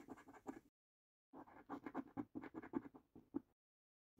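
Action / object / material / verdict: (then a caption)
scrape / paper lottery scratch card scraped with a coin edge / paper / none. A coin edge scrapes across the middle row of a paper lottery scratch card in short, quick strokes. The scratching comes in bursts with a pause between them, each stroke a dry, papery rasp centered in the low-mid range with a gritty upper edge.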